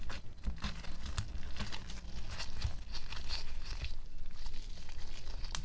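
Homemade white glittery glue slime is folded and squeezed against a white table by one hand in a pink latex glove. The result is a steady run of sticky, low squishes broken by brief, bright crackles and pops.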